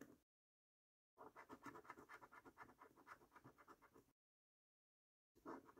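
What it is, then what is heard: Scratch card being scratched. The edge of a metal coin scratches the silver latex coating off the number panels of a thin, flat, printed paper National Lottery Prize Portal scratch card (£25, 5x £1 million) held flat by fingertips. A brief scrape is followed by a pause, then a quick, rhythmic run of about nineteen dry, raspy strokes centered in the mid-range. After another pause, a final burst of scratching begins.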